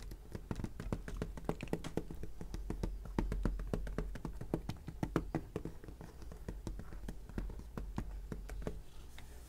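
Fingertips and nails tap and trace across the back cover of a plastic Snow White VHS clamshell case, which lies flat and is held by one hand, with other cases nearby left untouched. Quick, dry clicking taps repeat steadily throughout, each dying away almost instantly over a faint low hum.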